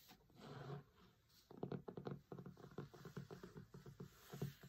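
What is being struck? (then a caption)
Cloth-covered hardcover book. A closed hardcover cookbook with a linen cloth cover and a printed photo lies flat while fingertips and short nails tap rapidly on the photo area of the cover. After a soft, low rustle, a quick run of dull, muffled taps follows, each thud short and low-pitched with almost no ring.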